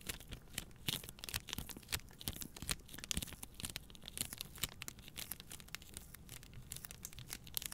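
Long nails scratch and squeeze the crinkly plastic film wrapped around a pack of paper towel rolls. The result is a steady, quiet stream of bright, dry crackles and sharp snaps, with little low-end body and no ring after each crinkle.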